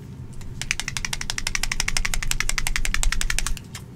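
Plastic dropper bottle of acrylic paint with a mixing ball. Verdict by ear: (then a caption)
Thin. An Army Painter Fanatic Rainforest acrylic paint dropper bottle is shaken, and its mixing ball rattles in a quick run of bright clicks over a low steady hum. The loose, easy rattle shows the paint is fairly thin compared with Onyx.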